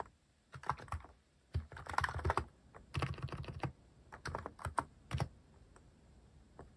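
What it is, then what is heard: Mechanical keyboard with plastic keycaps being typed on. Fingertips press and tap the plastic cat keycaps of a mechanical keyboard while typing. Quick runs of short, dry keystrokes come in uneven bursts with brief pauses between them, each press giving a muted low thock with a light clacky top that dies away almost at once.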